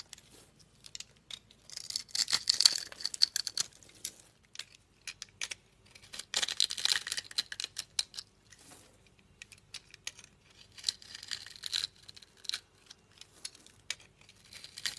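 A utility knife blade scrapes and carves small cubes off a solid rectangular teal soap bar that is pre-scored in a grid and held in the palm with long nails. Bursts of dry, bright scraping and crisp crackling cuts come in clusters, separated by quieter pauses, with almost no low end.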